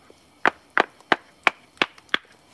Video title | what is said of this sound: Flint knapping live | can you hear that changing as i'm tapping it